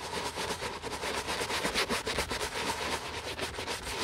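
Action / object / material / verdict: scrape / leather sneaker scrubbed with a bristle brush / leather / none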